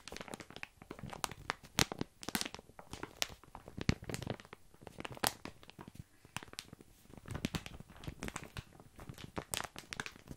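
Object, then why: Plastic bag of dry small pasta. Fingertips scratch and squeeze a full plastic bag of tiny dry pasta held close to the mic, so the pasta shifts and rattles inside. Dense, bright crinkles and crunches run throughout, with sharper, louder pops standing out now and then.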